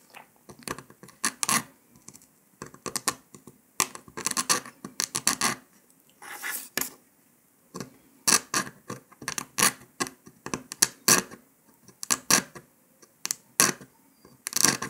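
A metal needle scratches and picks along the cut line of a brittle brown dalgona honeycomb sugar candy disc resting on paper, while a gloved hand steadies it. Short bursts of dry, bright scratching come in quick clusters separated by brief pauses, with almost no low end and a small crisp crackle at each pick.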